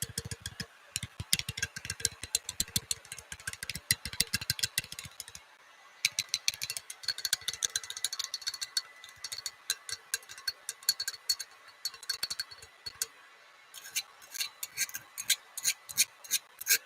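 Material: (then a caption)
Clay. A small clay mushroom figurine with a hole in the top, broken after it fell off a gun safe, is tapped in rapid bursts of many quick, bright clicks. The taps make a hollow, slightly reverberant sound with short gaps between runs.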